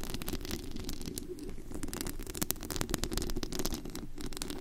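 Long acrylic nails scratch and tap across the bare perforated metal mesh grille over the hollow head of a large studio USB microphone set to high gain. Dense, crackly scraping with sharp taps and a low, boomy handling rumble carries continuously through the clip.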